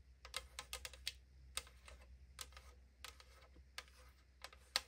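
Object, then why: Aluminum drink can. Long acrylic nails tap and scratch on the side of a tall AriZona aluminum drink can held in the hand. About 13 sharp, bright, clicky taps ring briefly and die out almost at once, with soft scratching and a faint low hum between them.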